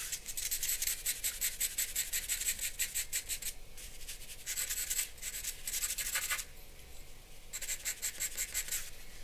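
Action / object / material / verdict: scrape / charcoal pencil on paper sheet / paper / none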